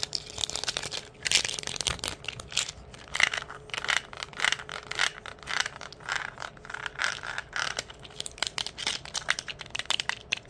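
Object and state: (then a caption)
Plastic pill bottle. Long nails and fingertips quickly scratch and squeeze a small, hollow white plastic pain-reliever bottle with a ridged cap and a paper label, working around its body and cap. The result is a fast, dense stream of bright, dry clicks, taps and scrapes with almost no ring, over a faint steady hum, with the contents possibly rattling inside.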